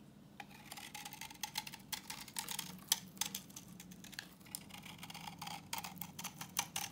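A solid, translucent orange bar of dry vintage soap, held in the hand, is scraped with a utility knife blade, peeling off crumbly yellow shavings. The quiet, bright, crisp scraping breaks into rapid, dry crackling clicks and ticks with almost no low end.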